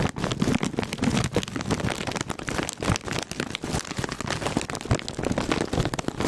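A full foil-lined plastic Cheetos chip bag is held close to the microphone while fingertips and nails tap and scratch across its surface. The result is a steady run of dense, crinkly crackles and soft taps with bright rustling edges.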